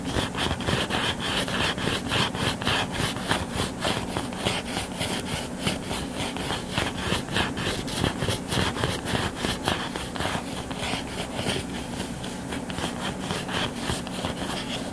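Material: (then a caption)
Cardboard. Fingertips and nails scratch and rub across the cover of a closed hardcover book lying flat on a solid table. The result is a steady run of quick, rhythmic, dry scratching strokes with a bright, papery hiss over a faint low hum.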